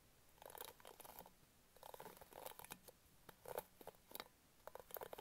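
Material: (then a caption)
Plastic. Long nails scratch rapidly over the dense pink bristle pad of an orange plastic hairbrush, close to the mic. The result is a series of quiet, dry, crunchy scratching bursts with bright edges, separated by short pauses.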